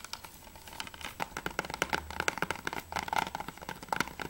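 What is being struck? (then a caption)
Hard plastic game case. Fingertips rapidly tap and nails scratch the hard plastic of a closed PS3 game case for Remember Me as it is held and turned from front to back. Quick, dry, clicky taps ring around 1.4 kHz with bright edges and stop almost instantly, mixed with soft scratchy rasps.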